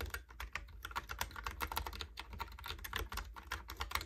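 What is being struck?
Plastic computer keyboard.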